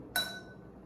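A cup is tapped once with a ballpoint pen, giving a single clear, bright clink. The high ringing tone fades within about a quarter second.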